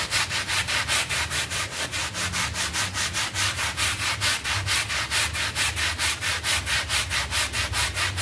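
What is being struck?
Synthetic pile carpet mat.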